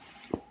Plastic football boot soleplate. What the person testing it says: when I knock it's kind of like it sounds really kind of cheap